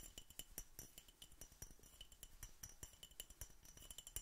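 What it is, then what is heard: Empty glass bottle tapped. An empty, hollow clear glass Coca-Cola bottle with a red label and cap is held in a fingerless-gloved hand and tapped with fingertips and nails. Quick, bright clinks with very short ring repeat in a steady, dense stream, each carrying a high glassy ping over a soft, dull thump.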